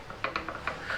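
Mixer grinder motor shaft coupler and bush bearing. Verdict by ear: Loose.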